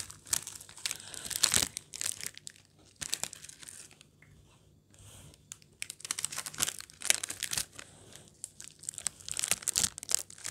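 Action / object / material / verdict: scrape / metallized plastic biscuit wrapper / metallized plastic / none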